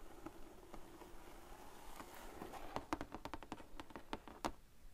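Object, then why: Cardboard craft kit box. Fingertips and long painted nails tap and patter across the lid of a large, flat, printed cardboard sequin art kit box lying closed on a table. Soft, faint scratchy patter gives way to a quicker run of dry, hollow taps with a low-mid papery thump and almost no ring.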